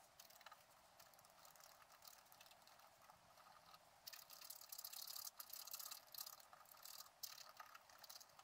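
A wooden stylus scratches the coating of a flat scratch-art card made of black-coated paper, giving a dry, bright rasping with no low end. The quick, irregular strokes grow louder and denser from about the halfway point.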